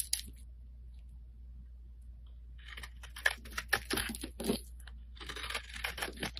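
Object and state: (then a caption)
Bar soap scraped with a blade. A solid light-blue oval Avon soap bar, held in the hand, is scraped with a flat metal blade, and chips and powder break away. A brief scrape is followed by a quiet pause, then a run of irregular, crisp crunching scrapes with a bright, dry texture over a low steady hum.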